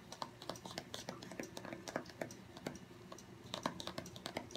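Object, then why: Small cardboard box. Fingertips and short nails tap quickly across the top of a small, long, narrow, hollow white cardboard box, Apple Pencil packaging, resting on a wooden table. Rapid, soft, dry clicks come in an uneven patter with very short decay, some hits brighter and sharper than others.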